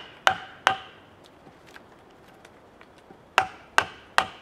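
A wooden mallet drives a chisel into a solid cedar log, heard close-up as five sharp, hollow wooden knocks: two in quick succession, a pause with faint small taps, then three more evenly spaced. Each knock carries a brief woody ring of about 770 Hz with bright overtones and dies away almost at once.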